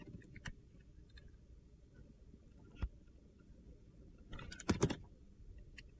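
A metal box-cutter blade slices and peels strips from a solid, palm-sized bar of red-coated soap with a yellow inside. Soft, crisp clicks and short scrapes sound over a low, quiet rumble, then a louder cluster of crunchy scraping cuts comes near the end.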